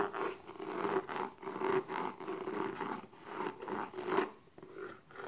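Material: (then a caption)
Cardboard. Long nails scratch the top and side edges of the lid on a small, closed, hollow black textured cardboard gift box. The result is a steady run of dry, rasping scratch strokes that swell and fade, centered in the mids with a faint tonal hum around 370 Hz beneath them.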